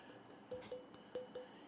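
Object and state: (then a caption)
Small bud vase tapped, rings as glass. A small vintage black glass bud vase with a gold rim and flower decoration, thought to be Italian, is tapped to show by ear that it is glass. Four clear, bright clinks with a brief ring near 500 Hz are heard, alongside a few fainter taps. The clean ring confirms it is glass.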